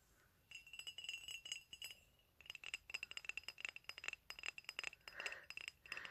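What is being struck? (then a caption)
Ceramic coffee mug. A medium white ceramic coffee mug with black "COFFEE" lettering, hollow and empty, is held in the hand and tapped with fingernails and fingertips. The result is quick bursts of bright, clinking taps with a steady ringing tone near 2.7 kHz that dies away almost instantly. A short pause comes just after two seconds, and a few softer, duller touches mix in near the end.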